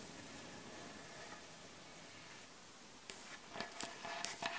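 Long acrylic nails and nail backs tap on the surface of a solid, light wooden butcher block board. After about three seconds of faint, steady hiss, five sharp, bright clicking taps sound with short, dry decays.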